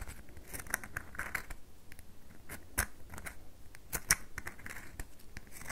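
Long nails scratch lines into the top of a solid red bar of soap held in the palm, leaving white marks. The result is a quiet, steady run of short, dry, crisp scratches with bright clicking edges and a few sharper strokes standing out.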